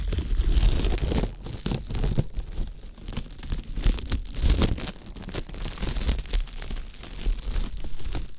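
Fingertips crinkle and rub thin, clear plastic cling wrap wrapped around an ear-shaped binaural microphone. The result is a dense, continuous crackling and rustling with bright crisp snaps over a heavy, muffled low rumble. The sound swells and fades in uneven waves throughout.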